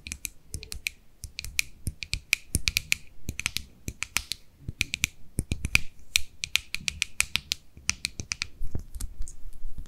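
Long nails tap and scratch the lid and rim of a small white plastic cosmetic jar held in the hands. The result is a rapid, irregular run of short, dry, bright clicks with a ringing high tone near 2.4 kHz and very quick decay, over a faint low rumble.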